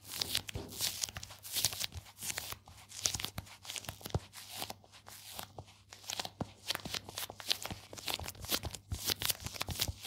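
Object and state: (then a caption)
Leather card wallet. A small, flat, dark leather card wallet with stitched edges is held in both hands while fingertips and nails rub and scratch its leather surface close to the microphone. Dense, bright, crackly scratching and crinkly rubbing come in quick bursts with short dry taps, and a faint low hum sits underneath.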